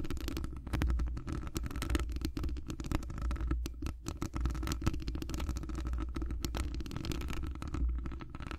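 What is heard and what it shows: Long acrylic nails on both hands scratch and tap a hollow metal wire-mesh microphone grille. The result is a dense, continuous low rumbling scrape, broken by many quick, dry taps with almost no ring. The sound stays heavy in the low end, with a steady deep hum underneath.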